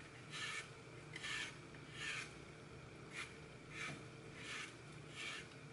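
Fingers break and crush a hand-sized, solid, porous block of green floral foam, its face coated in red and gold glitter with a cartoon baby picture, over a glass bowl already holding crumbled foam pieces. Seven separate bright, rasping, crumbling bursts come at a slow, uneven pace over a faint steady background, and falling pieces may also touch the bowl.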